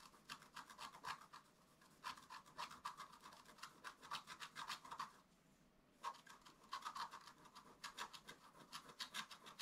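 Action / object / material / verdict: scrape / black-coated scratch-art card scratched with a wooden stick / coated card / none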